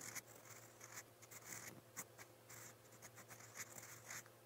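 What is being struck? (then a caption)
Steel pen nib scratching on a paper notebook page. A steel fountain pen nib, held in the fingers, scratches across a lined white paper notebook page lying flat on a pad while writing Korean letters in brown ink. The sound is a quiet series of short, bright, scratchy strokes and rubs with crisp high-pitched bursts, over a faint steady low hum.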